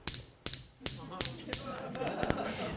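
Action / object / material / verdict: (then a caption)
tap / sandstone grinding stone / sandstone / dull. A real sandstone grinding stone, a mano, is tapped several times, each tap a short, dry, bright click with a quick decay and no sustained ringing tone. Later taps come closer together over a soft background murmur. The non-dense sandstone makes an audible but dull, non-musical sound, unlike a lithophone.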